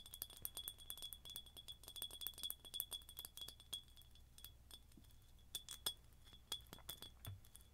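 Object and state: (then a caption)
Glass jar with metal lid, tapped. Long nails tap rapidly on a hollow, empty ribbed red glass jar with a silver metal lid and a straw, held close to the mic. Each tap is a bright, short glassy clink with a faint high ring around 3.3 kHz, coming in quick bursts and then more sparse taps over a low steady hum.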